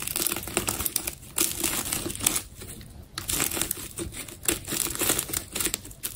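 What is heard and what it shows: A hand-held, solid, hourglass-shaped ball of many layered orange adhesive tape strips is sliced and scraped through by a utility knife blade. Dense, bright crackling and crinkling comes in rapid bursts, with brief quieter gaps between cuts.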